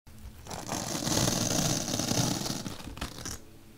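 A bottle brush, held by long-nailed fingers, pokes and scrapes along a slit in a large, solid, white melamine foam magic eraser block. The result is a dense, continuous scratchy rasp with a bright hiss over soft low rumbling, swelling in the middle and trailing off at the end.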